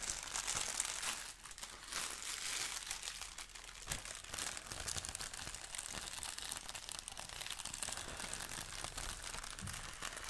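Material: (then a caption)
Paper. Both hands stretch and crinkle a large, thin, unfolded sheet of tissue paper printed with the Daily Prophet design. The result is a steady, dense stream of soft, bright crinkles and crackles, with most of the energy high and very little low end.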